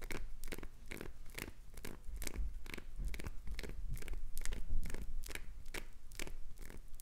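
Long acrylic nails scratch and carve shavings off a hand-sized, already carved, solid green translucent glycerin soap bar with red inclusions, held in one hand. The result is a quick, uneven series of short, crisp, crunchy scrapes with bright edges over a faint low rumble.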